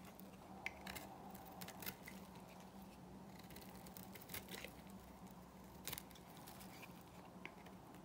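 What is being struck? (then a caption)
Bar of soap shaved with a small metal blade. A small metal blade shaves flakes from the flat surface of a dry, solid pink Korean bar soap held in the palm. Soft, crisp scraping ticks and brief bright clicks sound irregularly over a steady low hum.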